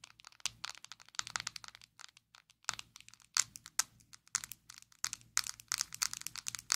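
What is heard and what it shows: A small square black plastic Maybelline Fit Me loose powder jar, hollow and filled with powder, is held in both hands and tapped and scratched with long acrylic nails. Quick bursts of bright, crisp clicks and scratchy crackles come in uneven clusters with short pauses between them. Each tap dies away almost instantly, leaving a dry, close, high-pitched texture.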